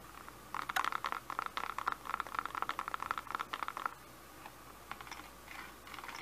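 A medium-size Bissell handheld vacuum with a hollow, empty-looking clear and grey plastic dust canister is held in the hands and tapped with fingertips and short nails. A quick flurry of light, dry plastic clicks and taps centred around 1.3 kHz fills the first half. It is followed by a few softer, sparser taps over a quiet background.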